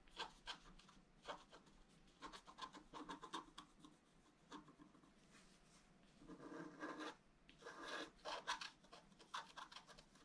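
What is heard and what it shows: A wooden stylus scratches across a flat, black-coated scratch art paper card, etching the rim of a fountain basin. Short, bright rasping strokes come in quick bursts, with a longer, steady scrape near the middle, all over a quiet background.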